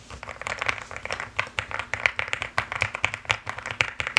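Fingertips and long nails type fast and continuously on a pink and white mechanical keyboard with plastic keycaps. A rapid, uneven stream of sharp, bright clacks rings briefly around 2.3 kHz, with almost no low end.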